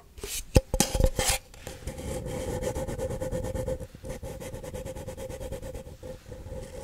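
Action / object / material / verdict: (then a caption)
scrape / empty paper cup / paper / none. Fingernails of both hands scratch the side of a single empty, hollow paper cup held upside down near the face. A few loud, bright scraping bursts open the clip, then settle into a steady, rapid raspy scratching with a faint hollow ring around 550 Hz over a low rumble.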